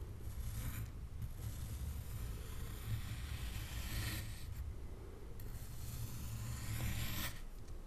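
A knife slices down through a solid molded block of blue kinetic sand resting on a wooden board. Repeated gritty, crunchy scraping passes with a bright, sandy hiss are separated by brief pauses, over a steady low rumble.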